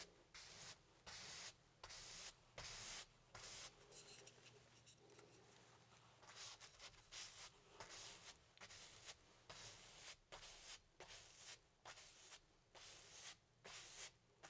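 A flat paintbrush loaded with black paint strokes and rubs along the right edge of a medium stretched cotton canvas on an easel, thin fabric over a hollow wooden frame. It makes bright, dry swishing bursts separated by brief pauses, blurring into steadier rubbing in the middle before returning to distinct strokes. A faint low hum runs underneath.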